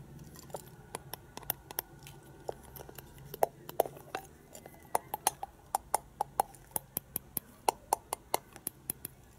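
Long painted fingernails tap and scratch a hand-sized, hollow plastic penguin egg toy with a translucent ribbed lower part, held in both hands. Dozens of sharp, separate clicky taps with a hollow, mid-pitched tone around 676 Hz and very short ring sound over a faint scratchy hiss, some taps carrying high, bright tips.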